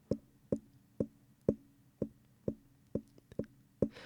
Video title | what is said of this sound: The World Needs More Mic Videos! - Zoom ZDM-1 vs Rode Procaster | you hear that, but it falls off pretty quickly. It's not that obvious.